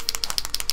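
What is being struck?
Acrylic paint marker with mixing ball.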